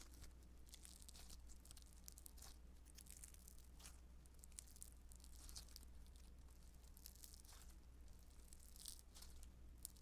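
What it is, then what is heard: Foam modeling dough being pulled and pinched. A soft, solid lump of blue beaded foam modeling dough (Play-Doh Foam) is pulled, stretched and pinched between the fingers and nails of both hands. It makes quiet, bright crackling and tearing bursts with crinkly, crunchy texture over a steady low hum.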